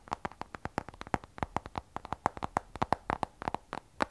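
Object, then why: Glass and stainless steel smartphone. Fingertips and long nails tap the glass back of an iPhone 12 Pro, a glass and stainless steel smartphone held sideways. About 28 quick, dry clicks land in an uneven rhythm, each with a hard tonal knock near 770 Hz and a thin, bright edge. The taps die out almost instantly with no ring.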